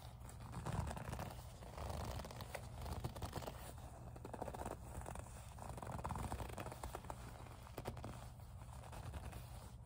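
Long nails slowly grip and rub the surface of a small, hollow pink faux leather zip pouch. The result is a quiet, continuous stream of soft squeaky rubbing and scratchy crackles over a low, muffled rumble.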